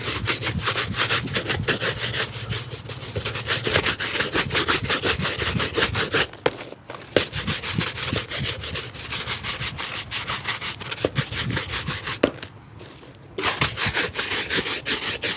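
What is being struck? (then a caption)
Leather shoe and bristle brush. A hollow, empty grey-black leather shoe with a rubber sole, held in the lap, is scrubbed with a wooden-backed bristle shoe brush. Rapid, brisk back-and-forth strokes make a bright, hissing scratch throughout, broken by two short pauses near the middle and the end.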